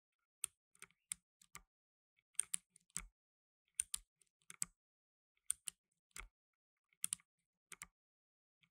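Blue nitrile-gloved fingertips type fast on a black tenkeyless mechanical keyboard with plastic keycaps. About 20 sharp, bright clicks come in uneven bursts separated by short pauses, and a few of the keystrokes land with a soft low thump. Each click dies away almost at once, leaving near silence between them.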